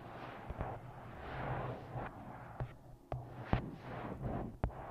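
Long nails tap on the glossy card front cover of a paperback book ('Twisted Love') held upright. Sharp, dull clicks stand out over a soft, low hum.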